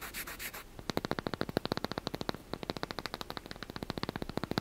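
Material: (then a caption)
Wood. A small, solid, light wooden block held in one hand is scratched with the fingernails, producing a sanding, rubbing sound. A few broad, hissy strokes come first, followed by a rapid, steady run of short, sharp scratches, each cutting off almost at once.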